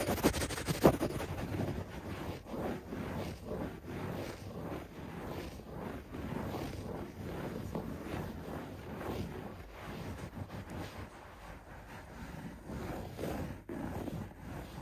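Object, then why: Shag carpet pile. A hand scratches a beige shag carpet close up with its fingertips, fast and hard. The result is a steady stream of dense, low, muffled rustling and scraping bursts that repeat quickly and unevenly. A sharper scrape stands out near the start.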